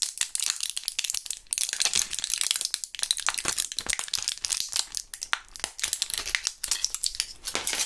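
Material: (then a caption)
Plastic. A small clear plastic blister pack with foil backing, partly filled with purple gum pellets, is held in both gloved hands and shaken and squeezed so the pellets rattle inside the blisters. The result is a continuous stream of bright, crisp plastic crinkling and sharp rattling clicks with almost no low end, lasting about eight seconds.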